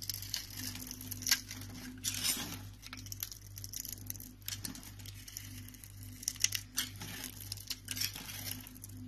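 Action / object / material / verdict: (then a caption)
scrape / bar of soap / soap / none. A box-cutter blade scores a grid into a solid rectangular green soap bar held in the palm, then carves off small cubes that scatter in flakes. Bright, crisp scraping and crinkly crunching come in bursts over a steady low hum.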